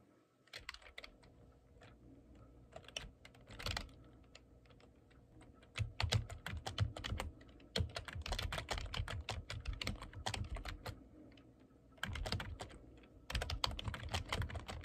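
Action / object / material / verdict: tap / plastic computer keyboard / plastic / none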